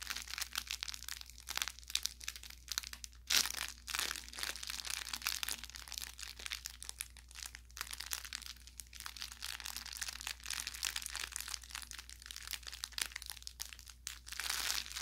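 Fingers pinch and crumple the tip of an orange velour, soft-stuffed plush carrot toy with crinkle filling. A steady stream of bright, dry crinkles and sharp little crackles fills the clip, with a few louder crunches standing out. A faint, constant low hum sits underneath.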